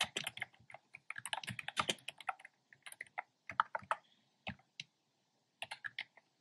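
Fingertips type steadily on a black plastic keyboard with hollow, round pastel retro keycaps. The result is quick, dry, bright clicks and clacks with almost no ring, coming in bursts with short pauses between them.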